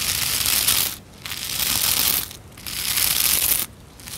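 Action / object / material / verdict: scrape / plastic scrub brush bristles / plastic / none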